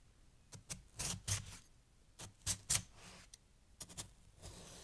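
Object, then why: Pile of snow cut with a steel knife. A steel kitchen knife, held in the hand, slices and chops down repeatedly into a loose heap of packed, fresh white snow chunks resting on a green towel, with the blade staying in the snow and never striking a board. About eleven quiet, bright, crisp crunches come at an irregular pace, each short and dry with almost no ring, over a faint low rustle.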